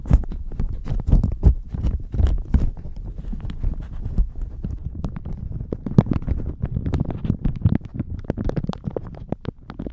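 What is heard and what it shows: A thin, crinkly, pink-flowered plastic shower cap is crumpled with the fingertips, then wrapped around the microphone and squeezed. The result is a dense, continuous stream of sharp crackles and crinkles, heavy and muffled in the low end, with quick bright snaps. It swells louder near the start and again around the middle.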